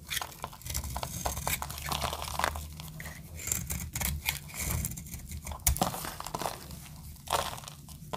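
A snap-off metal blade scrapes and cuts a solid blue dry soap bar, shaving off crumbly flakes. Dense, dry crunching and crackly tearing sounds come in quick bursts with sharp bright snaps, over a steady low rumble.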